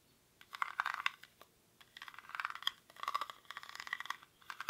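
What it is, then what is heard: Woven rattan basket being scratched. Fingernails scratch the weave of a small, hollow woven rattan/reed basket held in both hands. Dry, crackly scratching comes in several dense bursts separated by short pauses, centered around 1 kHz with bright high edges and no low end.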